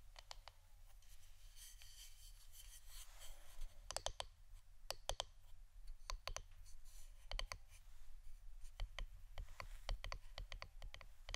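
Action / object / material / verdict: tap / wooden incense stick holder / wood / none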